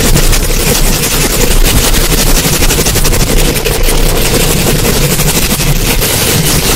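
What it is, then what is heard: Metal mesh microphone grille being scratched. Long acrylic nails rub and scratch rapidly up and down a hollow metal mesh microphone grille. The result is a loud, continuous rasping roar, with a heavy low rumble under a dense wash of bright, crackling scrapes.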